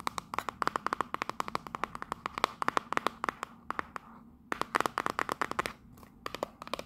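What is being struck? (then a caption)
Small printed cardboard box. Long nails tap rapidly on the front face of a small, hollow, printed cardboard Union Jack souvenir box. They make dozens of quick, dry clicks with a hollow, papery tone centered around 1 kHz, each dying away almost instantly. The tapping runs in fast, uneven bursts with a short lull just past the middle.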